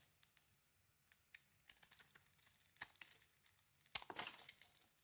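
A thin metal blade scrapes and peels flakes off a solid pink bar of soap, mostly carved down to its pale core and held in one hand. Quiet, bright, crisp scraping and crinkly flaking sounds come in short, dry bursts, growing busier and ending in a louder cluster of scrapes near the end.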